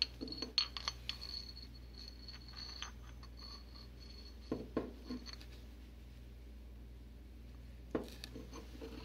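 A porcelain pestle grinds and scratches white powder in a white porcelain mortar held in a gloved hand, with scattered bright clinks as it taps the bowl wall. The clinks cluster in the first few seconds, with further sharp knocks near the middle and end over a low steady hum and soft gritty scraping. A thin, high ringing tone lingers through the early clinks.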